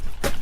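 A gray, bark-flaking firewood log is knocked once against another log, giving a single short, hollow, low-pitched knock that dies away quickly. Though it sounds dry, the wood reads 23 percent moisture against a 20 percent target, so it is still too wet to burn.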